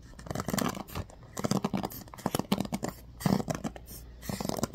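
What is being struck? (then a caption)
Bamboo paddle hairbrush with pin bristles. A bamboo paddle hairbrush with a black cushion and pin bristles is scratched and flicked by fingers and nails. Quick dry, crackly scratches and flicks come in uneven bursts with short pauses between them, with a low body around 190 Hz and faint bright edges. Each sound stops almost at once.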